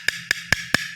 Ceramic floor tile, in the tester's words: ganito ang tunog ng kapak. Wala pa laman to kasi papalitadahan pa yan.